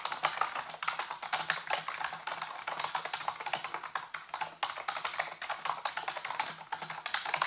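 Fingertips type rapidly on a full-size black plastic computer keyboard with hollow keys, set on a white base. The quick, bright, clicky key taps come in a dense, uneven stream with very short decay, over a faint steady low hum.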